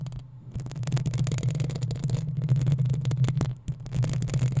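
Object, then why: Metal mesh microphone grille. Long acrylic nails on both hands scratch the hollow metal mesh head of a black desktop USB microphone. The result is a dense, continuous rasping and crackling with bright edges over a deep, throbbing low hum that stays steady throughout.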